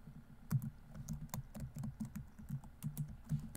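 Both hands type continuously with their fingertips on a laptop keyboard with plastic keys. The result is a quiet stream of soft, low, thuddy key presses, each cut off almost at once, with faint bright ticks on some strokes.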